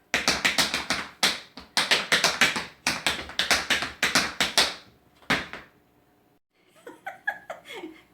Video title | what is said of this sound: Braided French Bread 101 with Pat #7 | tap it on the bottom if it sounds Hollow it's done